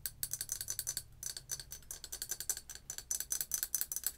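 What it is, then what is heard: Ceramic mug tapped with nails. A large, hollow, empty printed ceramic coffee mug is held by its handle and tapped on its side with long acrylic nail tips in a quick, uneven run of about 29 taps. Each tap is a bright, sharp click with a faint high ring that dies almost instantly, with very little low end.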